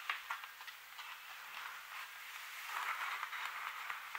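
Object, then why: Printed cardstock color chart. A large open paint color chart of thin, solid printed cardstock, lying flat on a surface, is tapped and scratched by the long metallic-tipped nails and fingertips of both hands, which wear rings. Soft dry taps and scratchy rustling fill the midrange with a bright papery hiss, quiet throughout. Short ticks come in loose, irregular bursts over a continuous scratching texture.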